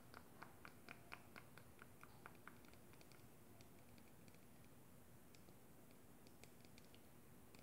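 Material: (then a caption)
Plastic. Long glittery acrylic nails tap and scratch a small, hollow clear plastic cosmetic tube with a black cap and pink liquid inside, held in the hand. Quiet, bright clicking taps come quickly at first, then thin out into sparser ticks and light scratches. The taps sit over a low, steady background hiss.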